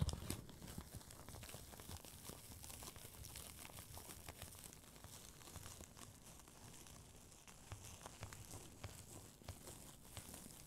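A thin, light sheet of red tissue paper, loosely bunched and held in both hands, is crumpled and crinkled by fingertips with long nails. Quiet, continuous crinkling and rustling is heard, dotted with brief, bright crackles over a low, soft rumble throughout.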